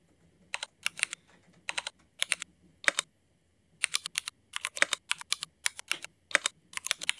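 Fingertip typing with both hands on a Cherry MX mechanical keyboard with black ABS plastic keycaps. Bright, sharp keystrokes come in quick bursts and short runs, with brief quiet gaps between them. Each click dies away almost instantly.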